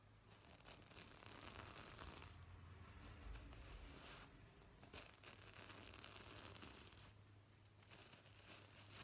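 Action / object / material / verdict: scrape / plastic sequin fabric pillow / plastic sequins / none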